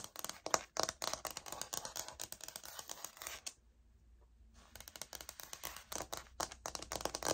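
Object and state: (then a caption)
Laminate wood-look floor sample. Long nails tap and scratch across a light oak laminate floor sample, a solid flat plank, as it is handled and finally turned edge-on. Quick, dry, bright clicks and scrapes run in a busy, uneven patter, then fall to near silence for about a second. The patter resumes sharply and continues to the end.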